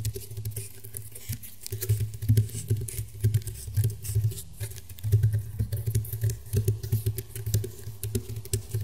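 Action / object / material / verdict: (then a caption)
tap / round woven rattan table mat / rattan / none. Fingernails tap and scratch quickly across the woven ridges of a flat, round woven rattan table mat. The result is a rapid, uneven patter of soft, dull taps, mostly low in tone with a faint dry scratchy texture, each tap dying away almost at once.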